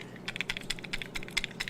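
A new hard plastic fishing lure is shaken to sound its internal rattle, giving about 13 short, dry clicks centered near 2 kHz with a faint low hum beneath. The rattle is a nice, short, clean one, like a large ball bearing knocking in a small space.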